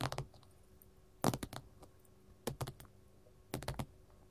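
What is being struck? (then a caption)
Gold mat. A gold mat is tapped with metal finger rings, giving quick bursts of short, dry taps with a low thud and a bright clicky edge. The taps come in four uneven clusters separated by quiet pauses, and each one dies away almost instantly.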